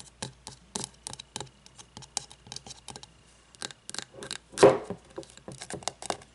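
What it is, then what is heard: Frosted glass candle jar. Long nails tap and scratch the sides of a medium frosted glass candle jar with a paper label and no lid, partly filled with wax, as it stands upright and is then tipped. About 29 quick, bright clicking taps and short scratches ring briefly, with one louder, fuller knock midway.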